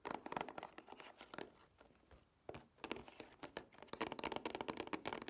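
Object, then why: Plastic DVD case with cardboard slipcover. Long nails tap and scratch the printed glossy cardboard slipcover of a plastic Scooby-Doo two-pack DVD case held in both hands. Quick, dry, bright clicks and papery scratching come in bursts, easing to a softer rasp in the middle before the tapping picks up again, denser and louder, toward the end.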